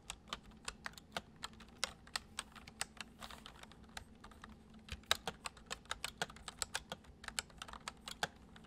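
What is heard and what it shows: Fingertips type on the keys of a full-size white plastic computer keyboard resting on a wooden desk, making about 37 quick, light, bright clicks with almost no ring. A faint low hum sits underneath the uneven, gentle typing rhythm.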